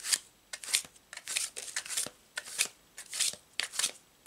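A paper tarot card deck is split and shuffled between two hands, the cards sliding and snapping together. Bright, crisp riffling bursts come in an uneven rhythm, each rising to a quick papery flutter and then stopping short, with almost no low end.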